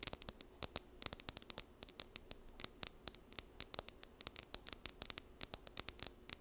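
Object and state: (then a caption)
Plastic comb. Long nails scratch the teeth of a small, solid blue plastic wide-tooth comb held in both hands. Around forty quick, dry, bright clicks and scrapes come in an uneven patter. Each one is sharp and high with almost no ring, over a faint background hiss.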